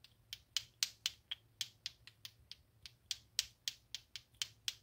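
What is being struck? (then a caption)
Two plastic clacker balls on a string. Two small solid pink plastic balls on a string, a clacker toy, are swung up and down by hand so they knock against each other repeatedly. Rapid, sharp, bright clacks come in an uneven rhythm of about four per second, each dying away almost instantly over a quiet background.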